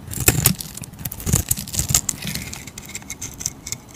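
A solid striped orange soap bar is scraped and shaved with a utility blade, giving a string of crisp, dry scraping strokes. The strokes carry bright high hiss and faint low thumps, with no ring after each one.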